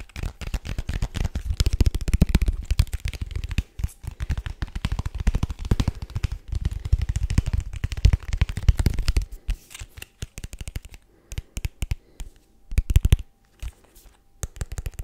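A small, hollow, rigid white paperboard product box is held in the hands and tapped rapidly with the fingertips and nails. The result is dense flurries of dull, deep, hollow knocks that stop almost instantly. Over the last third the taps come in shorter bursts separated by brief silences.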